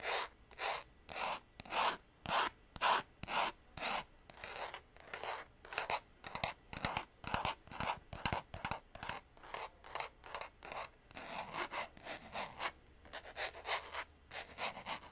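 Short painted nails scratch and rub the cover of a small purple cardboard-covered notepad with a clip, held over a wooden desk. A quick, uneven series of dry, papery scratching strokes follows, each burst bright and raspy with almost no ring, centered around 900 Hz.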